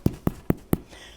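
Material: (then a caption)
Bread. A baked challah loaf is tapped four times, giving short, dull, hollow-sounding knocks with a low body around 250 Hz that die away almost at once. The hollow sound shows the loaf is baked through, with an internal temperature of 170 Fahrenheit, and both the top and the bottom of the loaf are meant to be tapped to check it.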